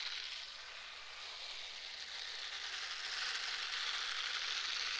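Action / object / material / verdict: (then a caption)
scrape / silicone scrubber gloves / silicone / none. A pair of pink silicone scrubber gloves, worn on both hands, is rubbed together palm to palm close to the microphone. It makes a steady, rapid, ratchet-like squeaky crunching that is mostly high and bright. The sound grows slightly louder over the five seconds.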